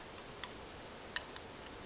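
A small bird-shaped lemon wedge squeezer, whose tail lifts to hold a wedge so juice comes out the beak, is tapped lightly. A few sharp, bright, high-pitched ticks sound with almost no ring, spread apart over a quiet background.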